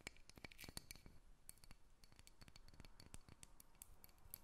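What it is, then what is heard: Carved wooden dolphin figurine. Long red nails tap and scratch the surface of a solid, hand-length carved wooden dolphin figurine held above a table. A quick, uneven run of sharp, dry clicks with bright, high edges is heard, mixed with soft scratching over a low, quiet background rumble. Each tap dies away almost instantly.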